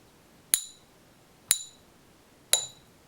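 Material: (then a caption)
Base metal. A fake, non-magnetic 1 oz Silver Eagle coin, underweight at 24.96 g and not silver, is struck three times toward its center with a coin pinger stick. Each strike is a short, high-pitched clink whose bright tones fade within a fraction of a second, spaced about a second apart. The coin scores zero out of three and is judged bad.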